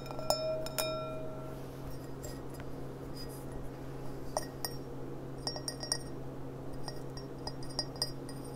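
A clear, empty glass goblet with a gold rim is turned from its side to upright, and long nails tap its bowl and stem. The taps make clear, bright clinks that ring briefly, some spaced apart and others in quick clusters, over a steady low hum.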